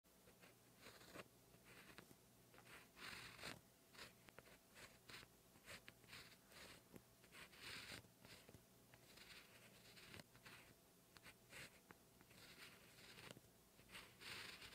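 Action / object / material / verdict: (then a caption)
scrape / ballpoint pen on a paper notebook page / paper / none. A black 0.5 ballpoint gel pen held in the fingers writes Korean characters on a lined cream paper page of a hardcover Leuchtturm notebook, which lies flat and solid backed. The pen tip scratches the paper in quiet, bright, hissy strokes with brief taps between them, over a faint steady low hum.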